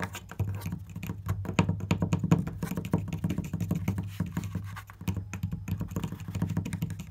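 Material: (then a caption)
Wood. Fingers tap rapidly and continuously on a wooden object or surface. The dense, fast taps sound dull and low, thudding around 100–200 Hz, and each tap dies away almost instantly.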